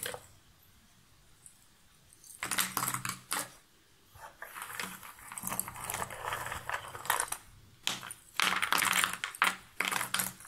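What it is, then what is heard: Cardboard jigsaw puzzle pieces. Hands scoop up cardboard jigsaw puzzle pieces from a shallow box lid and drop them back in, then scratch through the pile with long nails. After a quiet start, dry, bright clattering and rustling come in uneven bursts, with short, crisp pattering as the pieces fall and shift.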